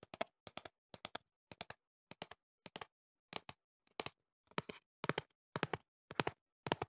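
Fingertips and nails tap the sides of a tall, hollow cardboard earplug box held close to the mic. Quick bursts of two or three dry, bright taps repeat at a steady pace, with a faint hollow body and almost no ring after each hit.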